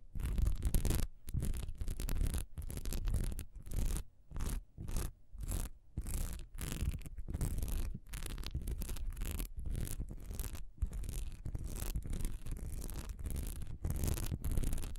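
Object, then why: Textured wax pillar candle. A solid honeycomb-textured wax pillar candle lying horizontally has its diamond-textured surface scratched fast with long nails. The result is a steady run of quick, dry scratching strokes in short bursts separated by brief gaps, with bright crackly edges over a dense, low, rumbling body.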